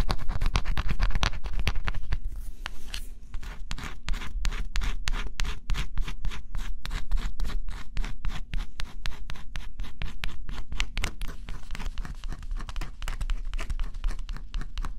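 A small stylus scratches a flat, thin coated cardboard scratch-off jigsaw puzzle in quick strokes. The result is a steady run of dry, bright, irregular scratches, roughly three to four per second, over a low constant hum.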